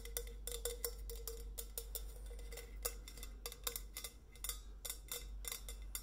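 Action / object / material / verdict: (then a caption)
tap / painted stainless steel insulated bottle / stainless steel / none. Long nails tap the painted metal body of a tall, hollow stainless steel insulated bottle with a white coffee-bean print and a steel cap, held in the hand. The result is an irregular run of sharp, clicky taps, each with a brief metallic ring around 480 Hz that dies away quickly, over a steady low hum.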